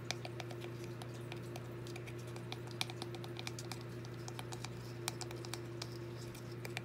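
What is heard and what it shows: A small, hollow, red-painted wooden birdhouse with gold drawings is held in both hands, and long, dark-painted fingernails tap rapidly on its walls and roof. The result is a quick run of light, sharp clicks with bright top edges that die away almost instantly. A steady low hum runs underneath the whole time.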